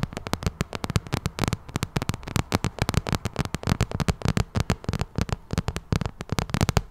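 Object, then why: Vinyl cosmetic bag. Long nails scratch and tap the side of a glossy pink vinyl cosmetic bag held close to the mic. The result is a rapid run of short, dry taps with a deep, muffled low-end thump and faint bright scratching between them.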